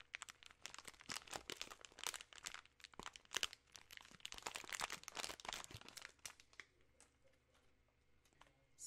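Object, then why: Plastic candy bag. A full share-size bag of peanut M&M's in plastic film is crinkled and shaken in the hands, partly close to the camera. Dense, bright crinkling and crackling bursts fill the first six seconds, then thin out into sparse, quieter crackles toward the end.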